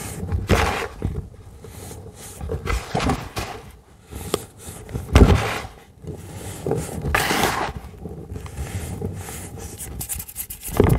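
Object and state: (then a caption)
Crushed baking soda crumbles. Fingertips and palms of both hands rub, press and crush a tray of dry, solid pink-dyed baking soda, both loose crumbles and compacted powder. Soft, crunchy crackles and gritty scraping come in uneven bursts throughout, with a few sharper, brighter crunches standing out.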